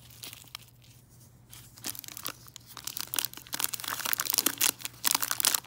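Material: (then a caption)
Cellophane. A cone-shaped tree of red-and-white hard peppermint candies in a clear cellophane bag is crinkled and tapped with fingernails. Bright, crisp crackling and sharp little taps start sparse and quiet, then grow denser and louder toward the end.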